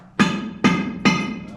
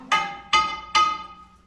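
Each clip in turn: First: hollow, fractured mine rock. Second: solid mine rock.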